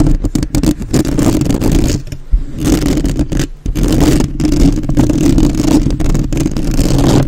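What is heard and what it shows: Long acrylic nails and fingertips of both hands rapidly tap and scratch the hollow metal mesh grille of a black, uncovered USB microphone. The result is a dense, boomy low rumble with fast crackling taps and scrapes, plus two brief near-silent dips.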